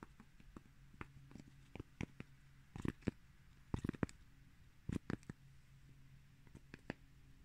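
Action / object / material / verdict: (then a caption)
tap / cork coaster / cork / none. A single small, round cork coaster, solid and flat with a raised rim, is held up while fingertips and nails tap and scratch its surface and edge. Quiet, dry, short taps and brief scratchy bursts come in irregular clusters over a low steady background hum, each dying away almost instantly.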